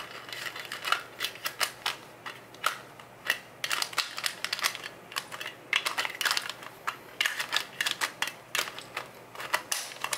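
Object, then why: Plastic jar lid. Fingertips and short nails tap and scratch the yellow plastic lid of a full, clear plastic Nature Made gummy vitamin jar. The result is a quick, irregular stream of dry, bright plastic clicks and scrapes with no low end. Each tap dies away almost at once.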